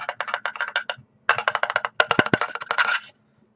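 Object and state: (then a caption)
Solid, well-built metal SSD casing. A solid metal casing of a Kingston SSDNow V300 solid-state drive is tapped as a build-quality test, producing 18 sharp, dry clicks in quick bursts with a short pause near the one-second mark. Each tap is bright, centred around 1.4 kHz, and dies almost instantly. The drive is judged to be of great quality.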